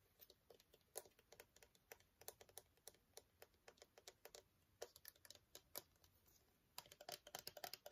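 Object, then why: Plastic cosmetic squeeze tube. Long fingernails tap and scratch a small, partly full green plastic squeeze tube of skincare gel held upright and sideways. The result is a quiet, irregular run of sharp, dry, bright clicks with almost no ring, easing into a brief lull before a denser flurry of taps at the end.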